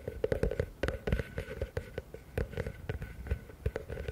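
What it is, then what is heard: Plastic bucket. Fingertips and nails tap quickly on the base and walls of a medium, hollow, empty blue plastic bucket held upside down. The result is a rapid, uneven run of short, dull, hollow knocks with a low body and a boxy midrange tone. Each tap dies away almost at once.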